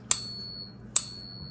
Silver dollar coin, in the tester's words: That's real silver from a silver dollar.